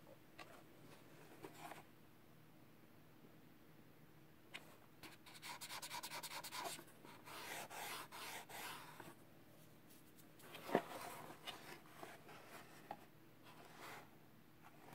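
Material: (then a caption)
Cardboard. A gloved fingertip rubs and taps the surface of a small, closed, hollow kraft cardboard product box for an Arteck car mount, and then the box is turned over. The result is quiet, dry, scratchy rubbing in soft bursts, interrupted by light hollow taps, with one sharper click standing out near the end.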